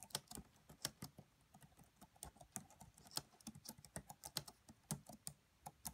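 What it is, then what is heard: Plastic laptop keyboard being typed on. Long manicured nails and fingertips of both hands tap rapidly on the black plastic chiclet keys of a red laptop with a hollow body. About two dozen quick, bright, dry clicks with a soft low thump come in an uneven typing rhythm, each dying away almost at once. The sound stays quiet throughout.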